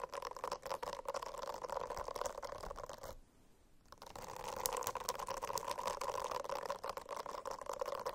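Fingernails scratch a silicone-covered notebook in a dense, continuous rasp with a steady mid-range tonal hum under fine scratchy grain. The scratching drops to near silence for about a second near the middle, then resumes at full strength to the end.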